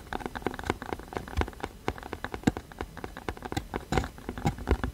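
Fingertips and nails tap rapidly on a hollow, printed cardboard box held upright against the mic. The result is a quick, uneven patter of short, dull, hollow taps with a low body and little brightness, each dying away almost instantly.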